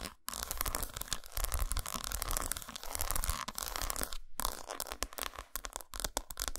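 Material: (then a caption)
Chocolate. Long nails scratch along the grooves of an unwrapped solid dark chocolate bar resting on a towel and tap its squares, making a dense, rapid run of dry, papery scratching with crisp clicks on top. The texture is broadband, with a heavy low rumble underneath and a bright hiss, broken by two brief silent pauses near the start and in the middle.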